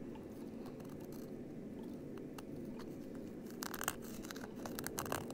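A small, flat embroidered Ariel patch with a stiff backing is held in both hands and scratched and rubbed with fingertips and short nails. A quiet, steady, low rustling texture runs throughout. From about 3.6 seconds it gives way to brighter, crisp scratchy bursts that are slightly louder.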